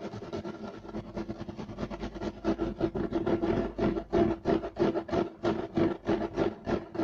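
Clawed fingers with short nails scratch fast across a solid, flat beige striped woven loop-pile carpet. Rapid, rough scratching strokes come at about three per second, each a dry rasp with a mid-range tone near 330 Hz, very little low end and a bright texture. The strokes grow louder and more distinct through the second half.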